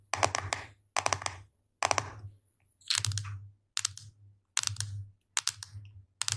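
Fingertips and long blue-painted nails tap and scratch the lid and sides of a small, round, light-blue plastic food container with a clip-lock lid; it is hollow and its contents can't be seen. Eight short bursts of rapid, dry, clicking taps with bright scratchy edges are heard, each separated by brief silence. The taps die away almost instantly, with no ringing.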